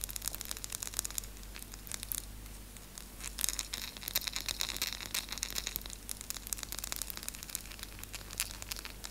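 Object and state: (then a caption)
Dark chocolate piece. Long nails rapidly scratch and pick at the edges of a small solid piece of dark chocolate held up between both hands, while other chocolate pieces rest untouched on the table. The result is a dense, fast stream of bright, dry scratching and crinkly clicks with no ring, over a faint steady low hum.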